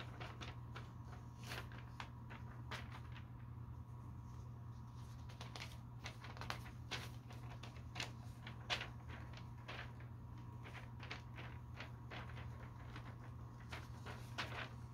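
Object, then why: Thin glossy paper catalog. Fingertips lift and slowly turn the pages of a thin, glossy paper store catalog lying open on a carpet. Soft, crisp paper rustles and brief bright swishes come one after another over a quiet, steady low hum.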